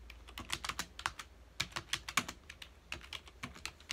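A full-size black plastic computer keyboard on a dark desk is typed on rapidly with the fingertips of both hands. Quick, bright plastic clicks and taps come in an uneven run, each stopping almost at once, over a faint low background.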